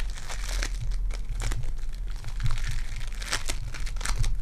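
Purple foam-bead clay is squeezed in a fist and then stretched between both hands by fingertips with long dark nails. It makes a steady run of bright crinkling, crackling bursts over a low, constant hum.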